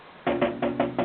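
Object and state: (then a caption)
Damped metal radio case, solid not tinny. Five taps on the metal case of a Uniden Madison 40-channel AM SSB CB base station radio, whose bottom, sides and back are lined with Dynamat sound-deadening material to remove a hollow, tinny sound. Each tap is a short, dull knock with a midrange tone that dies away quickly. The case sounds solid rather than tinny.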